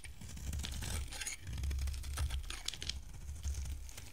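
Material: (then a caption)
Soap. A solid, hand-sized oval yellow bar of dry soap with a teal rim is held in the hand and shaved with a box-cutter blade, peeling off curls. Quick, dry scraping strokes give a crisp, crackling rasp with bright flecks over a steady low rumble.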